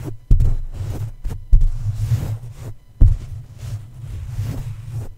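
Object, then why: Metal mesh microphone grille tapped by a soft plush toy. A plush Snoopy toy's fabric feet tap and press down on the top of a red microphone's black metal mesh grille. This produces deep, muffled, irregular thumps with a low rumbling pressure between them.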